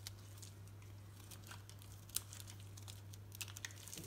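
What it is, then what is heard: Soap bar being shaved. A utility knife blade shaves and cuts curls from the surface of a solid green soap bar held in the hand. Quiet, crisp scraping and crinkling ticks run throughout, with one sharper snap near the middle, over a steady low hum.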